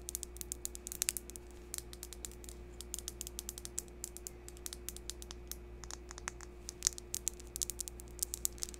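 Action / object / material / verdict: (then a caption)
tap / polished crystal palm stone / crystal / none. Long pink acrylic nails tap and scratch the face of a palm-sized, solid, smooth, round, translucent green polished crystal palm stone held over the microphone. Quick, bright, dry clicks fall in an uneven run with no ring, over a quiet scratchy texture. A steady low hum sits underneath throughout.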